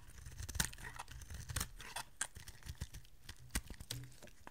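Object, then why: Bar of soap shaved with a small blade. A small metal blade shaves and carves a solid oval bar of dry white soap held in one hand, curling off flakes that fall onto a pile of shavings below. Quiet, crisp scraping and crackling cuts sound in irregular bursts, with a few sharper bright snaps, over a steady low rumble.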